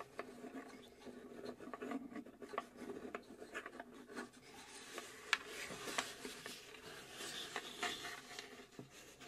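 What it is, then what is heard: Plywood box, scratched and tapped. Long acrylic nails scratch and tap across the engraved flat bottom panel of a small hollow plywood UGEARS puzzle safe box. The result is a soft, continuous dry rasping with light, crisp taps scattered throughout, bright and quiet with almost no low end.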